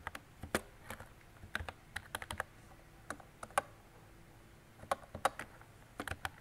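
A mint-green retro plastic mechanical keyboard with round plastic keycaps and a hollow body is typed on with fingertips and long decorated nails. Sharp, clacky keystrokes land in quick, uneven bursts, each click short and bright with a brief hollow ring.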